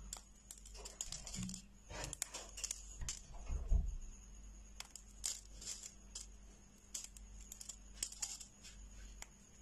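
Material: Soap.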